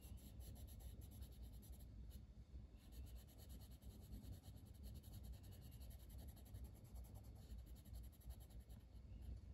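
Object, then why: Wooden colored pencil rubbing a paper page. A dark green wooden colored pencil colors a flat paper page of a coloring book in short strokes, its lead rubbing the paper. The result is a quiet, steady scratchy rubbing with faint bright stroke textures over a dominant low rumble.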